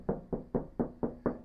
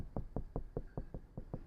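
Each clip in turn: First: Seven quick, even knocks with a boomy, drum-like tone: a bare steel van door sounding hollow. Second: Eight quick, low, dead taps on a van door; deadening makes the steel panel sound solid, not drummy.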